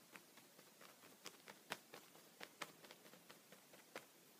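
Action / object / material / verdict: tap / thin plastic sheet protector tapped with a pencil tip / plastic / none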